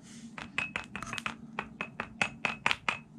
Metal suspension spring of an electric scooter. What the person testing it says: помните, как раньше звенели пружины, а сейчас? Слышите? Более глухой звук стал